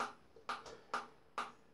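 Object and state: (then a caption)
Stainless steel bowl damped by rubber insert, no ring. Four taps on the edge of a Byron Shaving Co. 'Lather Master' stainless steel shaving bowl with its molded silicone rubber insert fitted, each giving a short, dull clink centred around 1.2 kHz. Each one dies away within about a tenth of a second: the bowl has no ring because the rubber insert quietens the bowl edge.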